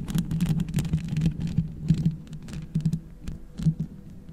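Long red acrylic nails scratch and tap all over the hollow metal mesh grille of a black USB microphone, using both hands. The result is a dense stream of soft, irregular taps and scrapes with a low hollow hum near 156 Hz, and brief bright scratchy bursts.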